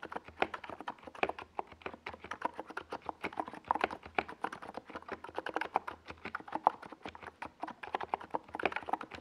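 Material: Plastic.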